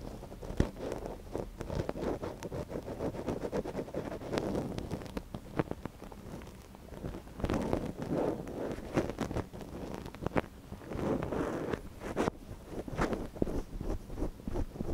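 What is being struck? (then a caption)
Silicone microphone ear scratched with a thin wooden stick. A thin wooden stick, held in one gloved hand, scratches inside the canal of a small, soft silicone ear on a binaural microphone. Close, dense rustling and scraping crackles come in uneven bursts with a muffled, low-heavy tone and no ringing.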